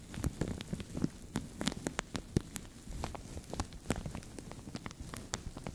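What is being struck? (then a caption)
Thin plastic bag. Fingernails scratch and fingertips crinkle a translucent, thin plastic bag stretched over a microphone. The result is a dense run of sharp, dry crackles and clicks with bright tips over a low, muffled rumble, which patters unevenly like rain on a surface.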